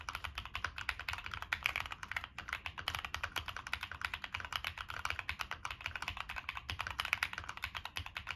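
Continuous fingertip typing on a Monsgeek M1 mechanical keyboard with a black aluminum case, plastic keycaps and NK Cream switches. The keystrokes come as a rapid, steady stream of short, bright clacks that stop almost instantly, over a soft low thump.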